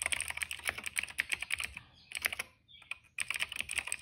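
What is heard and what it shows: Fingertips of both hands type on a retro-style cream plastic mechanical keyboard with black and purple keycaps. Quick, bright, clacky keystrokes come in a steady flurry, pause briefly just before the three-second mark, then resume at the same brisk pace.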